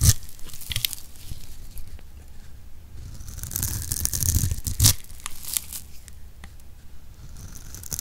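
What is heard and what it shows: A utility knife blade scrapes across a hand-sized solid pink soap bar held in the palm, carving fine ridged shavings. Crisp, dry scraping and crunching rasps come in uneven strokes, with bright crackles over a soft low rumble. One louder, sharper crunch stands out near the end of the clip.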